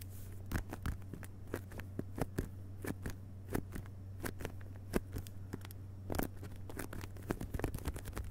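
Fingertips of both hands tap quickly on the glossy paper dust jacket over the cardboard cover of a closed hardcover book lying on carpet. Many short, dry, soft taps arrive in an uneven stream over a steady low hum, each dying away almost at once.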